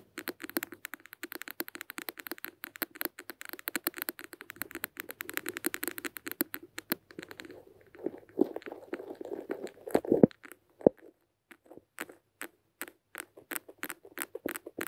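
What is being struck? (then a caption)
Glass beaker filled with granules. Long red nails tap and scratch the outer wall of a small, clear glass beaker filled almost to the top with brown granules, with small microphones buried inside and both hands holding it. Rapid, dense, bright clicking taps run for about seven seconds, then give way to a louder rustling scratch. Slower, evenly spaced taps close the clip.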